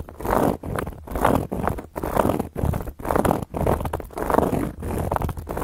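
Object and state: Cork coaster scratched with long nails.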